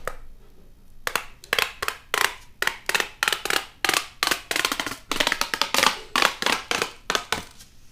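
A long, hollow, pink corrugated plastic pop tube toy is held in both hands, stretched out and pulled so its ridges snap and crackle. After a quiet start, a rapid series of sharp, bright, crackling pops follows, each burst dying out almost at once.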